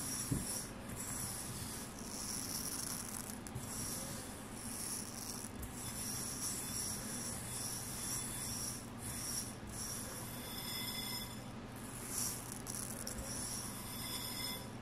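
Bare fingertips dig into and rub through a pile of tiny pink and lilac sugar nonpareil bead sprinkles in a red bowl, stirring and scratching the loose beads against each other and the bowl. The result is a steady, soft, gritty rustling with a bright, hissy sparkle over a faint low hum.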